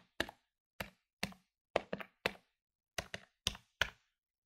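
Fingertips press the plastic keys of a medium-sized plastic electronic desktop calculator lying on a wooden table, giving about a dozen short, dry, bright taps. The taps come irregularly, sometimes in quick pairs, with brief pauses between, and each clack dies away almost instantly.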